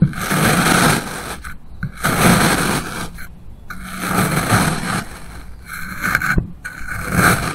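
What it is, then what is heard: Kinetic sand block being sliced. A steel kitchen knife slices a solid pink kinetic sand block into thin layers, the blade pressing and scraping down through the compact sand. Each cut gives a gritty, crunchy scrape with a low, dull body and a bright, hissy top. The strokes come again and again at an uneven pace, with short quiet gaps between them.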